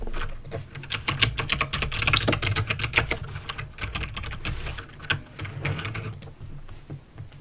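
Fingertips type slowly on a backlit mechanical keyboard with plastic keycaps and clicky green switches. Irregular sharp, bright clicks overlap with soft low thuds as each key bottoms out. The keystrokes come in an uneven stream, then thin out toward the end.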